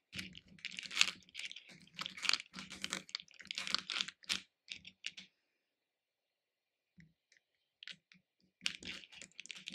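Fingertips and nails rummage through small hard-shelled capsule candies in a small pink plastic bowl, lifting them and dropping them back in. Dense bursts of bright, crisp clicking and rattling fill the first five seconds, then go quiet. A few sparse ticks follow before the rummaging starts again near the end.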